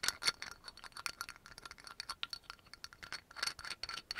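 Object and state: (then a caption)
Amber glass oil bottle. Long nails tap quickly on the yellow label and cap of a dark brown amber glass oil bottle. The result is a rapid, irregular run of light, dry, bright clicks and scratchy taps with a faint high glassy ring and almost no low end.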